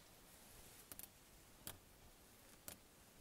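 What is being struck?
Car side window, flat glass pane.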